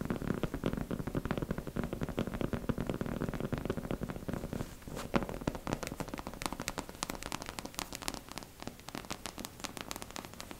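Long pink acrylic nails tap fast on the face and cheeks of a life-size beige mannequin head, held in both hands, with a smooth matte surface that is likely hollow plastic or vinyl. A dense, steady stream of quick hollow taps starts out low and thuddy, then turns into crisper, brighter clicks about halfway through.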